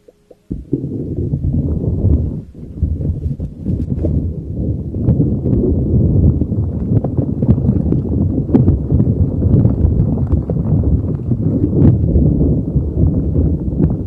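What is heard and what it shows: A neon green soft rubber spiky puffer ball with long spikes covers a microphone and is rubbed and squeezed with fingers. After a couple of faint clicks, a dense, muffled, low rumbling rustle starts and runs almost nonstop, with a brief dip just past two seconds and small bright crackles scattered throughout.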